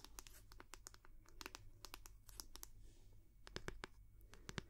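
Long manicured nails tap and scratch the back of the solid wooden head of a round, bamboo-like wooden paddle hair brush with a cord loop, held close to the mic. Quick, dry clicks with bright edges scatter over a soft scratchy rustle and a low hum, each tap dying away almost instantly.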